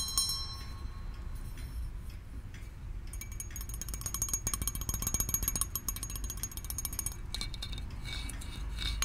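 A small hollow brass handbell with a wooden handle is held by the handle close up and shaken, ringing with bright, high metallic tones. Quiet, scattered rings give way to a dense run of rapid jingling strikes in the middle, then slower rings toward the end over a steady low rumble.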